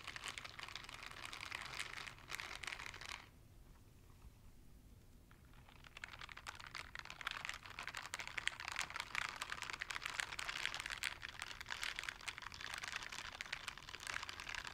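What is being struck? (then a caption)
Silicone scrubber gloves. A pair of light blue silicone dishwashing gloves with bristle pads, worn on both hands, are rubbed and pressed together in front of the mic without touching it. The result is a dense, bright, crinkly scratching and rustling. It drops to a quiet lull from about 3 to 6 seconds, then resumes for the rest of the clip.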